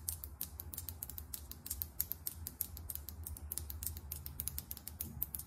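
Long acrylic nails tap rapidly on a small, filled lip gloss tube held sideways, striking both its body and its chrome metallic cap. Dozens of crisp, bright clicks with almost no ring fall in a fast, uneven rhythm. A soft low rumble runs underneath throughout.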